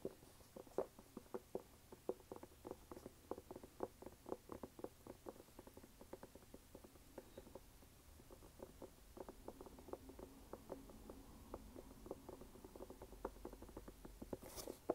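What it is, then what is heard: Rubber sneaker sole. Fingertips tap and scratch the waffle rubber sole and rubber sidewall of a red canvas sneaker held sideways. The result is a quiet, steady patter of short, dry clicks with faint scratching underneath, ending in a brief broadband rustle.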